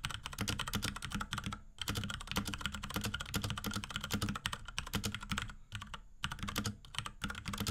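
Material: Plastic.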